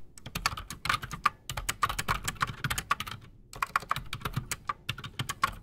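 Both hands type fast with their fingertips on a solid, full-size black Redragon Shrapnel K589 mechanical keyboard resting on a desk, fitted with Outemu Silent Sky silent switches and Razer PBT plastic keycaps. A rapid run of short, dry keystrokes sounds, each a muted clack with a bright top and a light low thump, dying away almost instantly. There is a brief pause midway before the fast typing resumes.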